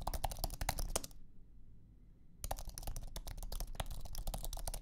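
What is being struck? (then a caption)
Low-profile aluminum and plastic keyboard. Fingertips type on a thin Apple iMac keyboard with an aluminum base and white low-profile plastic scissor keys, resting on a carpeted surface. Quick, soft, dry clicks come in an uneven stream over a low hum, pause for about a second, then resume steadily to the end.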